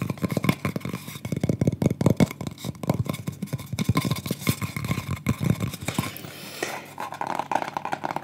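Fingertips and painted nails tap and scratch across the surface and edge of a thin, solid, round light-wood pyrography plaque, about 20 cm across with burned flower drawings, held in both hands. Quick, dry, close-up taps and scratches come in dense bursts, each with a low-pitched woody knock and almost no ring.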